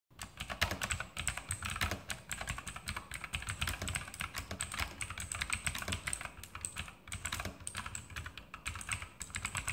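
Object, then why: Plastic mechanical keyboard. Fingertips of both hands type rapidly on a full-size E-Element Sharpshooter X2000 mechanical keyboard with plastic keycaps, Outemu blue clicky switches and RGB backlight on a metal-top frame, sitting on a desk. A dense, continuous stream of sharp, bright clicks runs over a low thocking body, with each keystroke decaying almost instantly.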